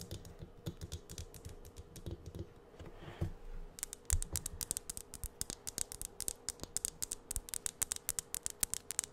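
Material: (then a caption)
Plastic. A medium Jolly Rancher Aromabeads jar, apparently plastic with a lid and filled with beads, is held in the hand and tapped close to the mic with long acrylic nails. Dozens of short, crisp clicking taps with no ring come slowly and softly at first, then faster and brighter from about the four-second mark.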